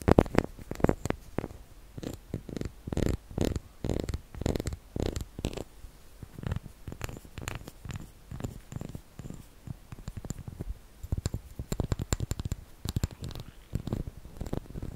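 The ridges of a small, solid white, ridged wax shell-shaped candle are scratched and tapped with fingernails. The result is a quick, uneven run of soft, dull taps and brushing scratches with a low, muffled body and almost no ring.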